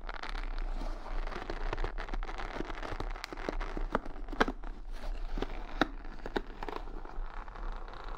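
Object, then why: Wooden paddle hair brush with bristles. Long nails and fingertips scratch and rub the bristles, beads and rhinestones of a wooden paddle hair brush held close to the microphone. The result is a dense, crackly scratching with frequent sharp, dry clicks over a steady low rumble.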